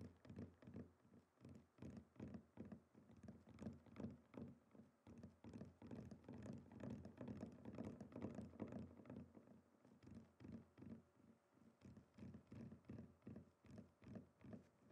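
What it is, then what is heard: Wooden chopping board. Fingertips of both hands resting flat on a rectangular, flat, solid wooden chopping board with a plank pattern, lying on a table, tap its surface in a quick, fairly steady patter of about two and a half taps per second. The taps are dull, low-pitched knocks centered around 230 Hz that decay quickly, with an added echo effect.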